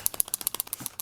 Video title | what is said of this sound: How to Touch up Car Paint Key Scratch | If you don't hear that, that means it's solid.